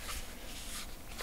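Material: Nothing is struck.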